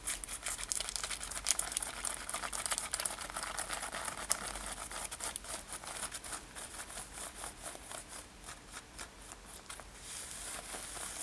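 Long nails scratch the front of a worn light-blue denim top with brown leather lacing, making a quiet, dense, irregular rasping. The scratching is bright and hissy with quick crinkly strokes that fade slightly before picking up again at the end.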